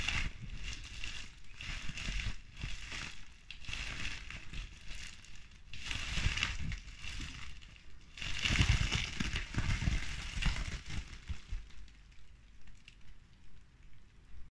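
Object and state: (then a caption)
Plastic bubble wrap being squeezed. A large clear sheet of plastic bubble wrap with hollow air bubbles is pressed and popped by fingertips with pink nails. Bursts of crackly squeezing and popping come in clusters, with a low thump under bright crackle, loudest around the middle before trailing off into quieter, scattered pops.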